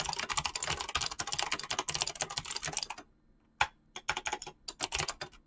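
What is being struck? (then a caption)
Mechanical keyboard with PBT plastic keycaps. Fingertips type fast on a mechanical keyboard with dyed PBT plastic keycaps and clicky switches. A dense run of bright, sharp clicks lasts about three seconds, followed by a brief silence and then a sparser burst of keystrokes.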